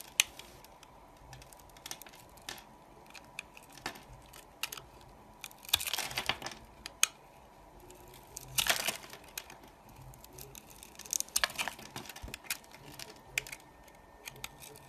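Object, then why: Bar of soap scraped with a knife blade. A large knife blade scrapes and shaves pieces off a solid, opaque pink soap bar scored into thin slices, held by a hand with dark nails. Crisp, bright crackling and crumbly scraping ticks run throughout, with louder crunching bursts around 6, 9 and 11.5 seconds over a quiet, faint hum.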